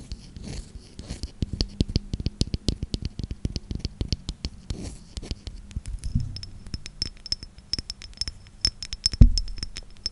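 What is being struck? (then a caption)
Small glass perfume bottle with wooden cap. Long nails scratch and rub a small square clear glass perfume bottle with a wooden cap, held in the hand. The result is a quick, uneven stream of short dry taps and scrapes, mostly low and muffled, with faint bright ticks and a slightly louder knock near the end.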